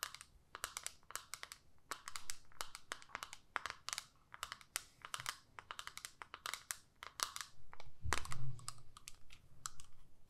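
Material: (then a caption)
Plastic. Long nails tap and scratch the clear lid of a small plastic eyeshadow palette, making a quick, irregular run of dozens of sharp, bright clicks. Softer scraping fills the gaps. Near the eight-second mark a louder, lower rub or thump swells briefly before the tapping continues.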